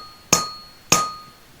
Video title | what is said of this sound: Vibration damping | with the damping will not ring and will make a very small sound